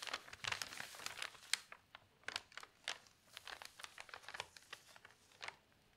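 Fingers with long pink nails turn a page of thin newsprint newspaper lying open flat on a table, then smooth the sheet and tap it flat. The paper gives off quiet, bright, crisp crinkles and rustles in a quick run of short bursts, with louder crackles early on and softer, sparser taps toward the end.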